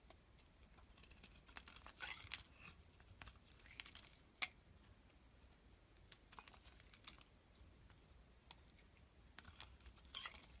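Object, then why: Bar of soap. A metal utility blade shaves thin slices from a solid, palm-sized, partly carved pink bar of soap held in the hand. The result is quiet, bright, crisp scraping and crackling with many short clicks, and a single sharper snap stands out about midway.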